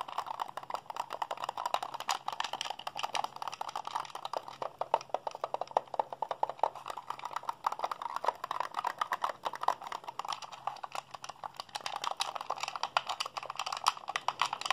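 Fingertips and thumbs rapidly mash the buttons of a hollow, white plastic Xbox handheld controller held in both hands. The result is a dense, continuous stream of short, dry plastic clicks and taps centered around 1 kHz with a bright edge and almost no low end, each click dying away almost instantly.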